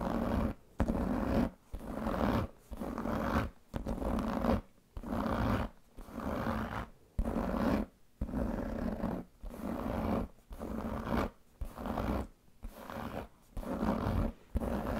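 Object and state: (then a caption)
Leather handbag being scratched. Fingernails and fingertips scratch and rub the pebbled surface of a large black leather handbag with a metal buckle. The sound comes as a steady run of rough, grainy rubbing strokes, each lasting about a second and separated by brief silent gaps. The strokes are weighted toward the low and middle range, with a faint droning tone around 200 Hz running through them.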